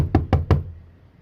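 Three knocks on the cab body panel of a Peterbilt 379 truck that has been filled with fiberglass and filler. Each knock is a dull, solid, low thud that dies away almost at once with no hollow ring.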